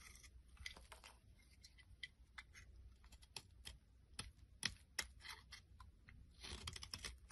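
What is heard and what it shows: A small blade scrapes and carves thin shards off the top of a solid, rounded purple bar soap held in the palm. About fifteen quiet, irregular, crisp scraping clicks and crackles rise over a faint low rumble, bright and dry with almost no ring.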